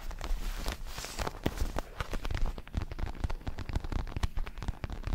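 Fingertips tap and scratch the red leatherette surface of a large, padded, red and black Everlast boxing glove made of synthetic leather. The result is a dense, steady run of soft, dull taps and crackly scratches with a heavy low thump, each one dying away almost at once.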